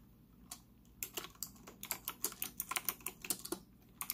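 Fingertips type rapidly on a white, retro typewriter-style mechanical keyboard with round plastic keycaps, a hollow case and an integrated stand, resting on a desk in front of a laptop. About nineteen short, bright plastic clicks clatter out in uneven bursts, each dying away almost instantly over a faint low hum.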